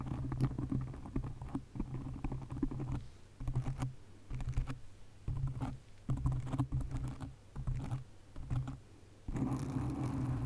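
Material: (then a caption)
Foam. Long acrylic nails quickly tap and scratch a black foam windscreen on a condenser mic, making dense, muffled, low-heavy rustling and thumping. It comes in short bursts separated by brief quiet gaps, ending in a steadier, louder stretch of scratching.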